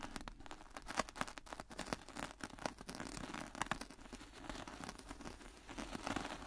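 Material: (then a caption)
Sand. A gloved hand drags a small metal mini rake through fine black-and-white speckled sand or grit in a shallow white plastic tray. The result is a steady, gritty raking and scraping with crunchy, grainy strokes and brief bright scratches. The level rises and falls with each pass.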